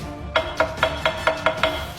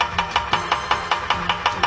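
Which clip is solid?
The first.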